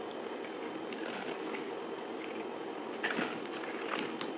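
A dried, solid pink soap bar with a gold-painted shell, held in the hand, is sliced and scraped with a utility knife. A steady, dry crackling scrape runs throughout with almost no low end, broken by a few sharper, brighter cracks near the end.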